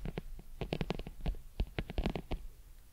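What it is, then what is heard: Leather football. A full-size brown pebbled leather American football, hollow and inflated, is held beside the microphone and scratched with long pointed metal claw nails. The result is a quick run of short, dry scratching strokes with a bright rasp over a low, hollow thrum from the ball.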